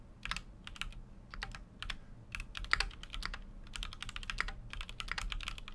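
Continuous fingertip typing on a full-size Keychron Q6 mechanical keyboard with an aluminum case and plastic keycaps. Quick bursts of short, bright clacks run from the mids into the highs, with each keystroke dying away almost instantly. A low, steady hum sits underneath.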